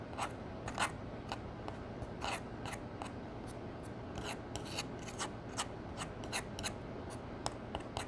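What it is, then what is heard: Pressed powder eyeshadow being crushed. A metal spatula crushes a copper shimmer pressed powder eyeshadow pan in its palette into chunks. About seventeen short, crisp scraping and crumbling strokes come in irregular bursts, bright and gritty, over a steady low hum. The powder breaks up with each dry scrape.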